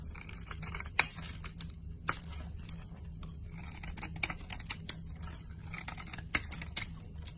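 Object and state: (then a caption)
Bar soap being carved. A metal utility-knife blade scrapes and carves curls off a solid, hand-sized teal bar of soap with a white inner core, held in a hand with long nails. Dry, bright scraping rasps come in irregular strokes, punctuated by a few sharp, crisp snaps, over a steady low hum.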